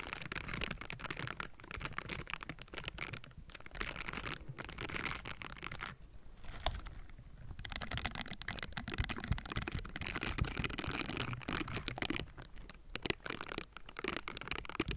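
Pink silicone bristle gloves scratch and pat the hollow metal mesh grille of a Blue Yeti microphone close up. The result is a dense, continuous scratchy rustle with a deep boomy rumble underneath and bright crackling edges, broken by quick soft taps and a brief quieter pause partway through.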